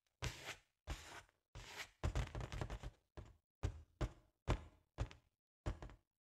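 Long nails tap and scratch the sides of a large, hollow, inflated balloon with a holographic foil pattern. Each touch gives a dull, boomy low thump with a short papery rustle on top, coming in quick separate bursts and a busier run of scratching in the middle.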